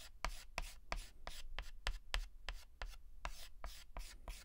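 A white chalk stick makes fast, short hatching strokes and rubs on a flat black chalkboard while filling in a letter. About thirteen quick, crisp taps each trail off into a bright, gritty scrape, with a soft low thud underneath and no ringing in between.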